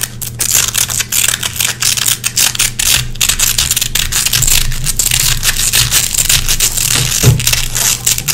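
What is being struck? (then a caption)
Nylon hook-and-loop (velcro) hook strip. Long red-painted fingernails scratch and pick white lint out of a small gray nylon velcro hook patch. The hooks give off a dense, bright, continuous crackle of quick rasps and snaps over a faint steady low hum.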